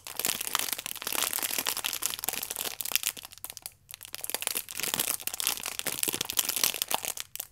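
Fingertips and long nails squeeze and rub the clear plastic film wrapped around a stack of yeast sachets, producing dense, bright crinkling with rapid sharp crackles. The crinkling runs continuously, with a brief pause near the middle and another near the end.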